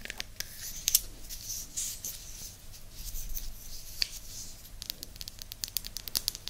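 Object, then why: Small flat wooden disc. Long nails scratch and tap the surface of a small, flat, round, solid light-wood disc held beside an ear microphone. Dry, bright scratches mix with many quick, crisp taps that die away almost instantly, over a faint low rumble.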